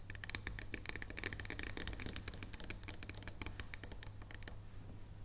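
Long nails tap rapidly and continuously on the surface of a solid dark chocolate bar lying flat on a wooden table, producing a dense run of short, crisp, bright clicks with almost no ring. A steady low hum sits underneath throughout, and the tapping thins out near the end, leaving a faint high hiss.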